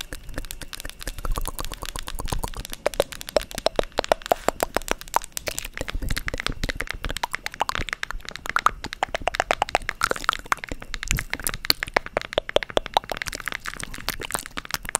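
A small, hand-sized wooden box shaped like a book, with ridged page-like edges, is tapped and scratched with long acrylic nails close to the microphone. A dense, continuous stream of sharp, dry clicks and crackly scratching runs through the whole clip, each click very short with no ring.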